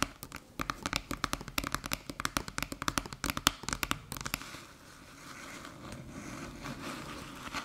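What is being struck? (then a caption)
Small aluminium USB hub. Long metallic nails tap quickly on the top of a small, flat, hollow aluminium USB-C hub with blue USB ports resting on a dark table. The result is a dense run of sharp, bright clicks that barely ring, about 32 in the first four and a half seconds. The tapping then gives way to a softer, steady scratching across the metal surface.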